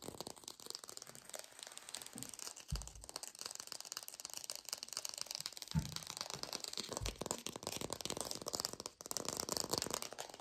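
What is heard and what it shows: A textured artificial plastic orange is fast-tapped in a lo-fi recording, making a dense, rapid stream of dry, crackly clicks with bright, hissy highs. A few duller low thumps stand out around 2.8, 5.8 and 7 seconds, and the tapping keeps a steady, busy level throughout.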